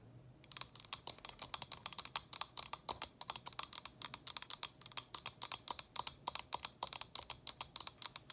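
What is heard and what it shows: Long acrylic nails tap rapidly on the sides of a small, hollow, frosted plastic cylinder: the inner water reservoir of an essential-oil diffuser, sitting on its base with the lid off. About fifty quick, dry, bright clicks patter in uneven bursts, each stopping almost at once with no ring.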